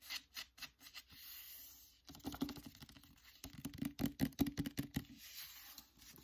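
Fingertips and nails tap and scratch the cover of an upright hardcover book, *The Secret Letters*, in its paper dust jacket. Quick papery scratches open the clip, then a smooth, steady scrape runs for about a second. Clusters of fast, dry taps with a low hollow thump follow, and soft scratching closes the clip.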